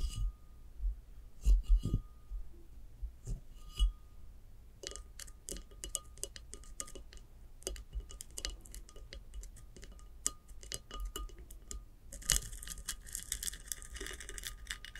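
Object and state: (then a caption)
Ceramic vase. Long nails tap and scratch a large hollow upright ceramic vase with a glossy glaze above and a sandy textured bottom section. Sharp, bright clicks and light taps come in irregular bursts over a faint steady tone. Near the end they turn into a denser, hissy scratching across the textured surface.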